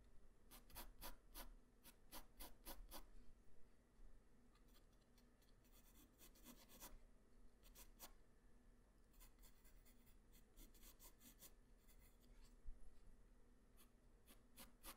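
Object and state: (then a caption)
Pencil drawing on paper. A hand-held graphite pencil tip draws hair strokes across a flat white paper sheet. Quick, short bright scratches come in clustered bursts, with softer rubbing passes between them, all over a faint steady low hum.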